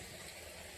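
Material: Nothing is struck.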